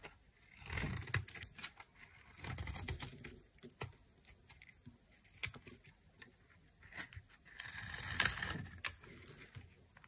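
A metal knife scrapes shavings off the side of a hand-held, solid cream rectangular dry soap bar. Three longer bursts of bright, hissy scraping are heard, with short crisp ticks and clicks in the quieter gaps between them.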